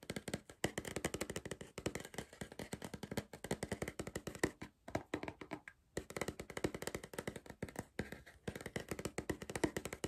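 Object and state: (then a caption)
Cardboard crisp tube. Fingertips and nails tap rapidly on the side of a tall green cardboard Pringles tube held upright in one hand. The taps are short, dry and hollow with a mid-pitched body and almost no ring, coming in quick, uneven flurries. Brief pauses break the tapping around the middle and near the end.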